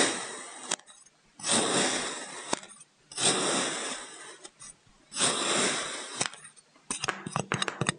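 A white ceramic knife blade cuts vertical scores into a solid purple kinetic sand brick resting on a wooden table. Three long, gritty, hissing scrapes drag through the sand, each ending in a sharp click. A quick run of short crisp ticks and taps follows at the end.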